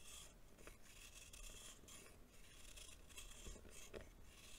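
A green-bladed knife shaves the surface of a small, solid lump of packed baking soda held in the palm. Quiet, continuous dry scraping comes in soft, bright, gritty strokes over a low background rumble.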